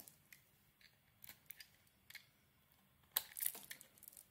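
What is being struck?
Bar of soap shaved with a metal blade.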